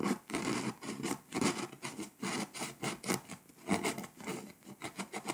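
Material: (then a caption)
Foil-coated paper. A pink scraper rubs and scratches the foil coating on a flat, foil-coated paper scratch-off world map, leaving flakes scattered. A steady run of short, raspy scraping strokes rises and falls in quick bursts, with a bright, gritty texture over a soft low body.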